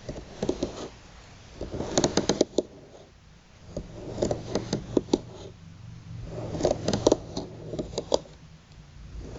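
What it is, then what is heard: Bamboo slat placemat. Long, pointed, polished nails tap and scratch across a flat bamboo slat placemat held together with string, lying on a table. Clusters of short, dry, clicky taps come in bursts, separated by softer scratching passages over a steady low hum.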